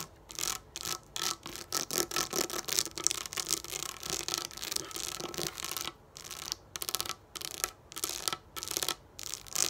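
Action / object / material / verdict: scrape / sheet of raised plastic dome stickers / plastic / none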